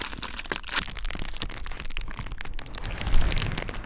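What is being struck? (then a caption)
Plastic bubble wrap sheet. A large clear plastic bubble wrap sheet on a dark surface is pressed, rubbed and scratched with fingertips and nails by both hands. Its air bubbles make dense crinkling and crackling with quick sharp snaps and a low rumbling underlay. The snaps grow louder near the end.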